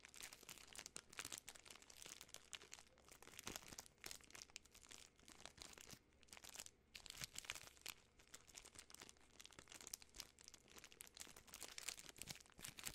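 A full Butterfinger candy bar in its sealed plastic film wrapper is crinkled and rubbed by fingertips and long nails. The result is a dense, continuous run of bright, crackling plastic crinkles with almost no low end. The crinkles come in quick bursts that rise and fall throughout.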